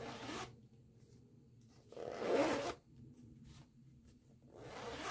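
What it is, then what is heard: Canvas zipper pouch. Long-nailed fingers use the metal pull to zip a green nylon zipper open and closed on a small floral canvas pouch. Three separate rasping zip strokes sound, bright and broadband, with the middle one loudest and quiet gaps between them.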